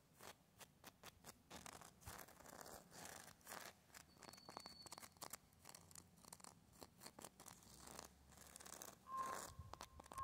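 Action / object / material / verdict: scrape / tree bark on a living trunk / bark / none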